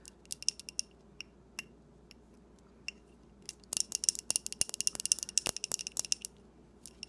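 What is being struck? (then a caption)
Wax-filled glass candle jar. A small glass tumbler-style candle jar, filled with solid pink wax and holding a lit flame, is held in both hands and tapped and scratched with long dark-painted nails. Sparse, sharp, bright clicks come first, then a dense, rapid flurry of crisp ticking taps and scratches in the second half. Each tap is very short, with almost no ring.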